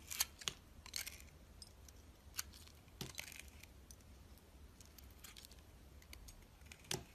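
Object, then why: Glycerin soap bar cut with a blade. A utility knife blade peels and cuts the green granular rim off a solid, translucent yellow glycerin soap bar held in the hand. The cuts come as quiet, crisp, bright scraping clicks and short snaps over a faint low hum, with louder strokes near the start, middle and end.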